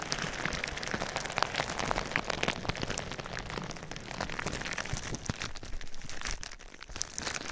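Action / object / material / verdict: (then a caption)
scrape / plastic bubble wrap over a microphone / plastic / none. Fingernails scratch and tap clear plastic bubble wrap covering a binaural ear microphone. The result is a dense, steady crinkling crackle full of sharp, bright ticks over a low rumbling rustle, dipping slightly quieter near the end before picking back up.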